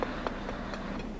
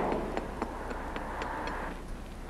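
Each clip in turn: First: hollow delaminated concrete bridge deck. Second: solid concrete bridge deck.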